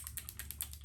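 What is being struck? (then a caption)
Plastic dropper bottle of liquid pigment with a mixing ball. A plastic dropper bottle of fluid acrylic fuchsia pigment is shaken so the mixing ball inside rattles to mix up the color, giving about eight quick, bright, dry clicks over a low steady hum. The ball rattles freely, as it should before the drops are dispensed.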